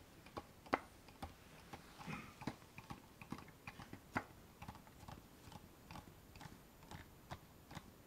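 A small, dark wooden box with a metal latch is held closed in both hands and tapped with long painted nails. The result is a quiet, irregular run of short, dry clicks and knocks, with a few sharper taps standing out. A soft scratchy rustle rises near the two-second mark.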